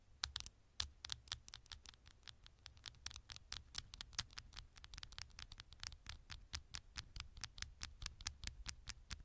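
Long nails tap and scratch the back panel of a small, thin, hollow smartphone held with its gold metal back facing up. A rapid, uneven stream of sharp, bright clicks and scratchy ticks stops dead with no ring, over a faint, steady low hum.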